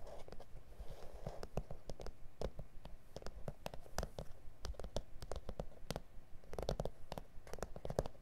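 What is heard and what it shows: Both hands quickly tap and scratch with fingertips and nails on a flat, solid A4 self-healing plastic cutting mat with grid lines. The result is a quiet, irregular run of short, dry taps and scratchy rasps, each dying away almost at once, over a low, dull body centered around 535 Hz.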